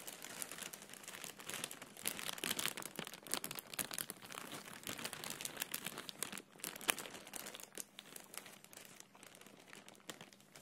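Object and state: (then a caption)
Plastic air cushion packaging bag, crinkled. A clear, thin, hollow plastic air cushion packaging bag with blue print is gripped and rubbed with the fingertips close up. It makes continuous bright crinkling and crackling with many quick sharp snaps and almost no low end, louder in the first seven seconds and softer toward the end.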